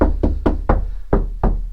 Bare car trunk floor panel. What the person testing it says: very hollow sounds like a drum